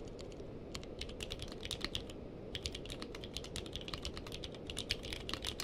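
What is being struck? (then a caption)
Mechanical keyboard with plastic keycaps. A purple-cased mechanical keyboard with plastic keycaps is typed on with the fingertips of both hands. It gives a steady, quick run of sharp, bright clicks centered around 3 kHz, over a constant low rumbling background. Each keystroke is short and dry, dying away almost at once.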